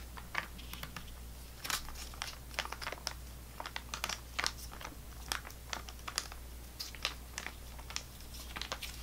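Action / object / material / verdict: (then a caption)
tap / foil-plastic squeeze pouch / foil plastic / none. A full, squeezable foil-plastic GoGo squeeZ apple sauce pouch with a screw cap is held in the hand and tapped and scratched with long nails. Quick, crisp clicks and crinkly scratches sound in irregular bursts, bright in the highs, over a steady low hum.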